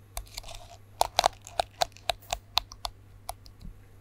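Fingernails scratch and flick the bristles of a plastic detangling hairbrush held to the side of a microphone, bristles facing out. Thirteen sharp, quiet, dry clicks and crackles, each with a hollow tone near 720 Hz and bright high crackle, die away almost instantly, with a soft scratchy rustle between them.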